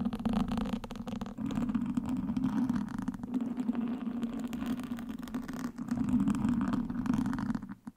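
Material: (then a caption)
Foam. Wooden sticks held in both hands scratch and prod the sides of a black foam windscreen on a microphone. The result is a dense, continuous scratchy rustle with a muffled, rumbling low hum that swells and dips throughout, then fades out at the end.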